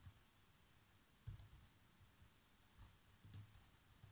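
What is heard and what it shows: Fingertips with short nails type across the keys of a black plastic chiclet laptop keyboard. The result is quiet, irregular taps: soft low thumps with faint bright clicks over a low, steady background.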